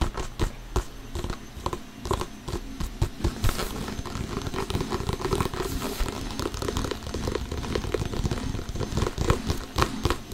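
A full-size inflated hollow Adidas soccer ball with synthetic leather panels is held up close and tapped rapidly with short painted fingernails and fingertips. Dense, quick taps make dull, hollow low thumps, with light crinkly clicks from the nails on the panels. Each tap dies away almost at once.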